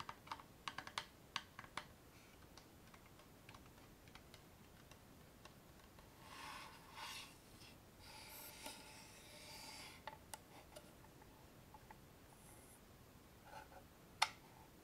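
A small, hollow wooden box with a metal clasp is held up and tapped and scratched with long painted fingernails, then its lid is opened near the end to show it empty. Quick, bright clicky taps come in clusters at the start, and soft scratching passages follow in the middle. A single sharp tap stands out near the end.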